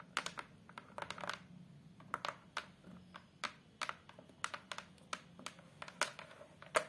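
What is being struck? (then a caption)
Hardboard photo frame backing board. Long, colorful acrylic nails tap rapidly on the surface of a thin, solid fiberboard (hardboard) photo frame backing board. About two dozen quick, dry clicks land in an uneven rhythm, each with a bright attack and a short hollow tone near 600 Hz. Every tap dies away almost at once.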